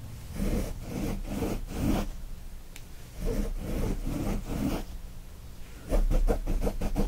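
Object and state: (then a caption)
Cotton kitchen towel being scratched. Both hands scratch with fingertips and nails across the woven surface of a brown cotton kitchen towel with a gnome print, lying flat. Fast, rough, rustling scratches come in bursts of quick strokes, dull and low-heavy with little brightness. The last burst is the loudest, with sharper, more separated strokes.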